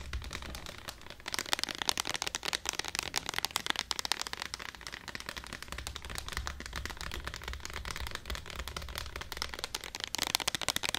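Long black acrylic nails tap and scratch all over the sides of a medium clear plastic jar of Eco Styler hair gel with a white lid, full of clear gel and held in both hands. The result is a rapid, dense run of bright, dry plastic clicks and scratchy rasps with no ring, over a faint low rumble.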